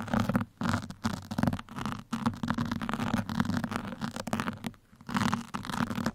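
Two metal pins scratch at the sides and top of a black foam microphone windscreen, giving rough, rustling scratches in uneven bursts with brief quiet gaps. The sound is dull and muffled, centered low with a steady tone around 200 Hz and little high-end brightness.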